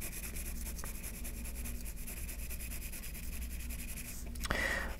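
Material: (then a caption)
Paper. A yellow graphite pencil shades back and forth on a flat white sheet of paper resting on a wooden table, using small repeated strokes. A steady, soft, scratchy rubbing continues over a low hum, with a louder, brighter scrape near the end.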